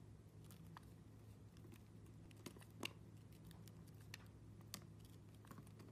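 A metal blade slices and scrapes thin layers off a solid round yellow glycerin soap disc, some with dark seeds, held in the hand, with a green soap nearby. Soft scraping runs throughout, with short, sharp, bright clicks and slicing ticks over a steady low hum.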